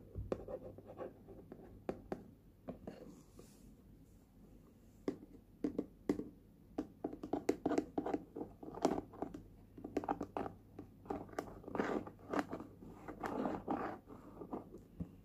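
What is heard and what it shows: Fingernails tap and scratch the lid of a small red hard plastic lunch box with a Universal Studios print, hollow and closed. Quick, dry clicks and scratchy rasps come in uneven bursts with short pauses, each tap dying away almost at once with a faint hollow, mid-low tone. The sound stays quiet and close throughout, with no voice.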